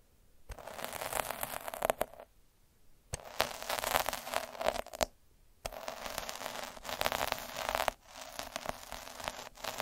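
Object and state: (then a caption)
Derma roller scratched across felt. A black derma roller with metal spikes is rolled and scratched across a red felt sheet laid on a dark surface. It makes dense, crackling, rasping scratches centred in the midrange with a bright hiss, in three long passes separated by short quiet gaps.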